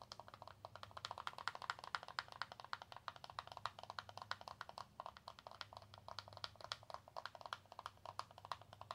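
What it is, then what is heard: Cardboard and plastic blister pack tapped with fingernails. Long acrylic nails rapidly tap and scratch an L.A. Colors press-on nail pack made of cardboard with a plastic blister, and the pack is tilted near the end. The result is a quiet, steady stream of short, dry, bright clicks and crinkly scratches with almost no ring or low end.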